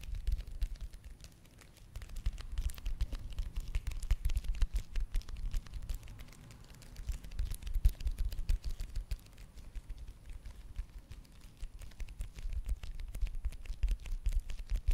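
Long nails tap and scratch fast across the flat, crinkly surface of a small, shiny red foil/plastic face mask sachet. A dense stream of quick, crisp clicks and crinkly scrapes sits over a soft low thumping, easing briefly near the two-second mark before picking back up.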